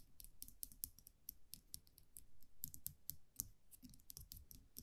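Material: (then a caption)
Metal. A small wire champagne cork cage (muselet) with a round metal cap is held in the fingers while long nails tap and scratch the cap. It produces a quiet, rapid, uneven series of sharp, bright metallic clicks and ticks over soft low thuds. Each tap dies away almost instantly.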